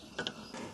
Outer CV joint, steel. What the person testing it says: Khi xoay nó theo cả hai hướng , một tiếng gõ nhẹ được nghe thấy